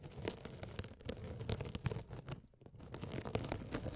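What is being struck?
Mesh-covered foam sponge.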